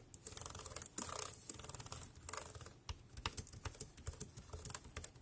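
Fingertips type fast on a compact dark grey plastic Bluetooth keyboard with round keys and a hollow body, resting on a black plastic bag. A quick, uneven stream of short, bright plastic clicks sits over a soft, low hollow thump. Brief bursts of dense, crackly clatter rise between the quieter runs.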